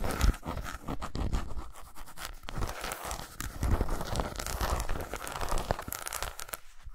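Long pointed nails scratch and tap along the ridges of an unwrapped solid milk chocolate bar with segmented squares lying on a towel. The result is a dense, continuous run of dry, crinkly scratches and quick, dull taps with soft low thumps, short and close with almost no ring.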